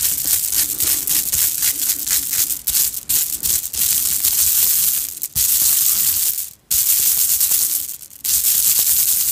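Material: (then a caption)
Plastic. Fingertips and long nails rub and shake several strands of red and green plastic Mardi Gras bead necklaces, worn on the chest, against each other. The result is a dense, bright, hissing rattle of clicking beads with almost no low end. It runs nearly continuously, with brief drops in level near 5.3, 6.6 and 8.2 seconds.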